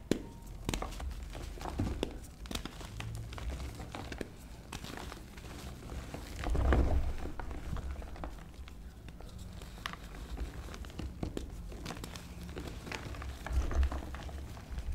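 Hands crumble small brittle chunks of reformed white gym chalk mixed with pink paste between fingers and thumbs over a blue tray, then squeeze and rub the crumbly chalk bed. The result is a steady stream of soft, dry crinkling crackles and quick crumbling snaps, mostly low and muffled with little brightness, swelling briefly louder around the middle.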